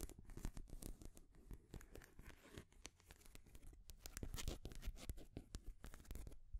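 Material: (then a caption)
Wood. Long grey nails scratch and tap across the rings of a colorful, painted wooden stacking ring toy. The result is a steady run of quick, dry clicks and scrapes with a low thump beneath them and bright, short transients that die away almost at once. It grows busier and slightly louder toward the end.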